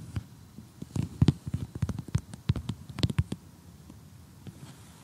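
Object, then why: Assembled cardboard jigsaw puzzle. A large assembled cardboard jigsaw puzzle showing a house and a tree lies flat and is tapped with short glittery fingernails, then poked with tweezers. Quick, dull, low taps and soft clicks cluster over the first three and a half seconds, some with faint bright ticks on top. They fade into near silence toward the end.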